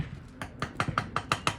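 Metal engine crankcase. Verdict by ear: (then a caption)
Hollow. The open crankcase of a two-stroke make-and-break engine, with its side plate removed, is tapped eight times in quick succession. Each tap gives a short, hollow knock with a faint ring around 1.2 kHz, the sound of the empty chamber inside.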